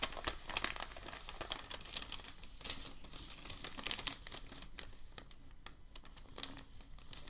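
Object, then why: Sheet of packing paper. A crinkled sheet of white packing paper is held up by both hands at its edges and folded over. It makes a steady, bright crinkling and rustling with many sharp crackles, louder in the first seconds and softer toward the end.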